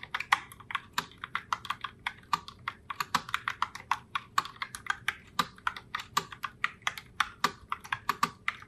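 Long blue-tipped nails type continuously on a pink Logitech Pop Keys mechanical keyboard (Heartbreaker Rose) with round plastic keycaps, as in a typing test. About 46 quick, sharp plastic clacks follow one another, each bright and centered around 1 kHz, with almost no low end. Every keystroke dies away almost instantly, leaving a steady, fairly quiet patter.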